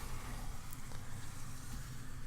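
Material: Nothing is struck.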